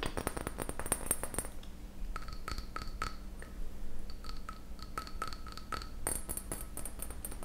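Fingernails tap a small glass beaker marked Pyrex, producing rapid, light clicks. Brief bright, glassy pings ring out over a soft low rumble, with quick bursts of clustered taps at the start and end.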